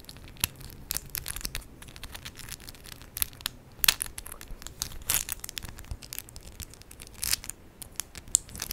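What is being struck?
Acrylic press-on nails.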